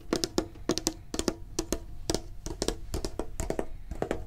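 Fingertips and nails tap rapidly on the sides of a medium, printed, hollow metal Pokemon card tin, in quick clusters of two or three. Each tap gives a bright, sharp click over a short, hollow metallic ring around 350 Hz that dies away almost at once.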